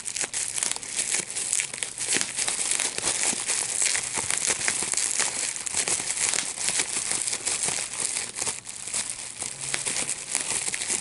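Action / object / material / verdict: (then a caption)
scrape / plastic bubble wrap sheet / plastic / none. A large sheet of clear plastic bubble wrap with small air bubbles is held in both hands while the bubbles are popped by pinching them with the fingertips and thumbs. A steady, dense stream of sharp, bright pops and crinkling plastic runs throughout, with almost no low end and each snap dying away quickly.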